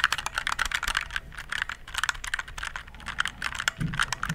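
Fingertips type rapidly on the keys of a compact, RGB-backlit plastic mechanical keyboard held beside the mic. The result is a dense stream of short, bright, clacky keystrokes centered around 1.5 kHz, each dying away almost instantly, with a faint low rumble underneath.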